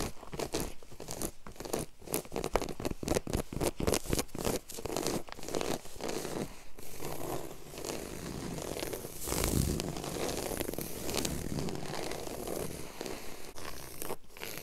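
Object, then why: Low-pile woven carpet. Long yellow acrylic nail tips scratch a flat, solid, low-pile woven grey carpet on the floor in fast strokes with both hands. The first half is a rapid run of sharp, dry scratching bursts. This gives way to a denser, steadier rustling texture with a brief louder swell near the middle.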